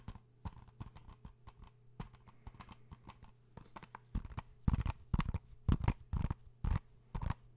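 A blue hollow plastic PS4 game case is held in the hands and tapped rapidly with fingertips and nails. Quick, dull, low-weighted taps come in an uneven patter over a steady low hum, growing louder and sharper in the second half.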